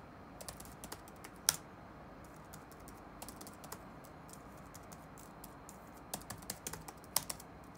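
Fingertips type on the black plastic keys of an open laptop resting on a wooden desk, making rapid, bright, clicky taps that stop almost instantly. The taps come in scattered bursts with short gaps, over a quiet, steady background hiss.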